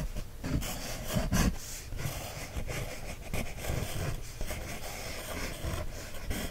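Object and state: Paper coloring book page scratched with a wooden stick.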